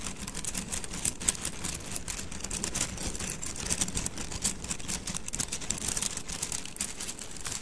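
A bundle of thin, solid wooden mikado sticks is held horizontally in both hands while the fingers roll and rub the sticks together. This produces a steady stream of dense, bright, dry clicks with very short decay over a soft low rumble, with a few slightly louder clacks standing out.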